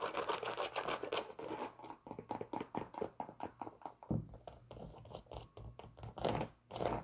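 Long pink nails scratch and tap on the leather upper and rubber sole of a hollow, empty white Adidas Superstar sneaker held in the hands. Dense scratching in the first two seconds gives way to a run of quick, separate taps and short scrapes, with a low steady hum underneath.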